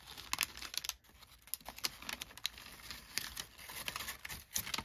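A large, already-crumpled sheet of thin brown kraft packing paper is held and unfolded in both hands, then crinkled and rubbed with the fingertips against a fleece blanket. The result is a dense, bright crinkling with sharp crackles that flare up and fade over quiet rustling, with almost no low end.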